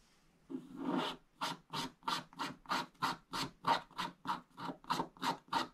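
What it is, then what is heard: Scratch-art paper page scratched. A wooden stick scratches along the upper edge of a flat scratch-art page, a black wax coating over blue foil paper. It makes 14 short, dry scratching strokes in a steady back-and-forth rhythm, the first one longer and slower. Each stroke is a bright, papery rasp centered around the midrange that stops almost at once.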